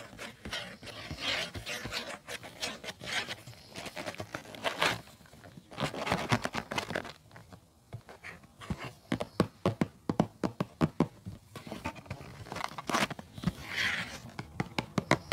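Fingertips and nails scratch and rub the back and side panels of a hollow, printed cardboard tea box resting on a fluffy rug, then move to the front. Soft, dry papery scraping gives way to a quick run of sharp, short taps and scratches toward the end.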